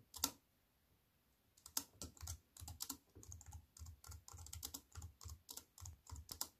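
Fingertips with long nails type on a wireless keyboard with black plastic keys set in an aluminium frame. One or two sharp taps are followed by a short pause, then a steady run of quick, crisp key clicks. Each click is bright and snappy over a soft low thump, with almost no ring.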